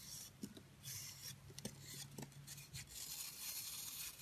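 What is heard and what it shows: A utility knife scrapes a partly carved pink soap ball with a blue core while long white nails pry off crumbly chunks. Quiet, dry rasping and scraping fill the clip with a bright hiss, broken by a few short, sharp crackles as pieces break away.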